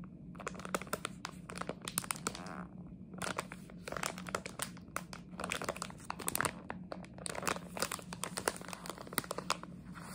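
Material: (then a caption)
Plastic. A red and white plastic jelly bean bag is scratched and crinkled with long nails. Dense, rapid crackling and crisp crinkles run throughout, with a steady low hum underneath and a brief quieter lull near the three-second mark.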